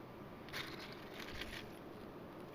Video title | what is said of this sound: KALE CHIP RECIPE - AVERY GROWS A GARDEN! | You can hear how crispy they are.